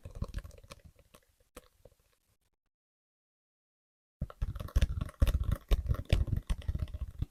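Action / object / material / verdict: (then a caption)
tap / paperback book / paper / none. Fingers tap on the paperback novel "Days at the Morisaki Bookshop," giving quick, soft, low thuds under whispering. The tapping fades out and pauses for about two seconds, then returns as a denser, louder run of taps.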